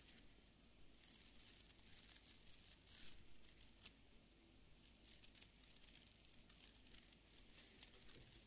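Fingernails strum and flick along the stiff fibre bristles of a small beard brush with an orange wooden back, held in one hand. The quiet clip is a steady run of dry, crinkly scratches and quick bright flicks, with sharp high rasps over a low, soft background rumble.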